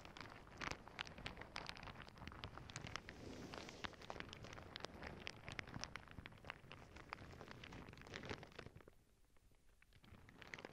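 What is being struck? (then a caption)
Plastic zip bag filled with small plastic beads. Long nails scratch and press a clear plastic zip bag full of small clear beads, making a dense, crackly rustle scattered with sharp, bright clicks. The rustling stays steady and busy, drops quieter around the ninth second, then picks up again with more clicks.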